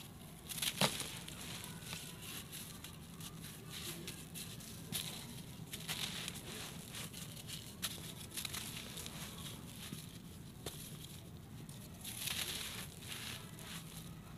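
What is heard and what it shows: Two bare hands crush and rub a hand-sized, solid, dry, crumbly sand-cement lump over a pile of similar blocks, with fingers and palms grinding it apart as fine dust and grit pour down through the fingers. A steady, bright, gritty crackle and crunch runs throughout, with a sharp snap near the start and louder crumbling bursts scattered through the clip.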